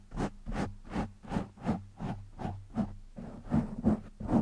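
Fingertips of one or both hands scratch a black foam windscreen on a microphone. A steady, loosely rhythmic run of soft, muffled scratching bursts comes through with a low, dull body and little brightness, and the strokes grow slightly louder and denser toward the end.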